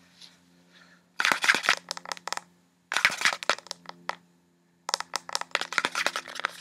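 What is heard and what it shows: Long red-painted nails quickly tap and scratch along a small, hollow, partly filled blue-and-white plastic beauty-product squeeze tube with a white plastic cap. Three bursts of rapid, bright, crackly clicks and scrapes are separated by short pauses, over a faint steady low hum.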